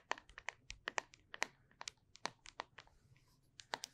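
Long nails tap and scratch the side of a small, closed, full cylindrical plastic Flarp putty tub with a label, close to the microphone. About 18 sharp, dry clicks ring at a bright plastic pitch near 1.9 kHz, cut off almost instantly, with faint scratchy rustles between them.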